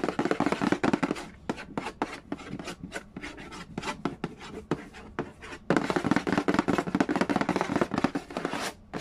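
Fingertips rapidly tap and scratch the glossy red lid of a hollow Yahtzee cardboard game box resting on a wooden floor. Dry, short, irregular taps mix with papery scratching. A denser, louder burst of scratching opens the clip and returns from about 5.7 seconds.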